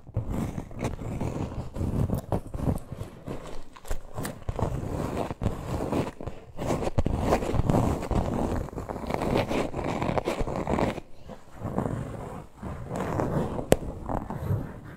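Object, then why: Faux-leather back panel of a small purse. Long nails scratch and squeeze the plain, smooth teal faux-leather back panel of a small, hollow purse. The result is a dense, continuous, muffled rasping heavy in low tones, broken by sharp clicks and brief quieter pauses near the end.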